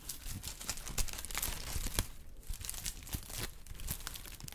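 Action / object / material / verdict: scrape / kraft honeycomb packing paper sheet / paper / none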